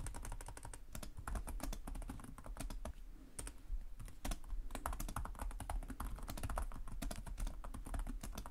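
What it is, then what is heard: Plastic laptop keyboard. Both hands type rapidly with short-nailed fingertips on the plastic chiclet keys of a black laptop resting on a desk. Quick, dry key taps click in a dense, uneven stream, with bright click edges over a steady low hum. There is a brief lull near the middle before the typing picks back up.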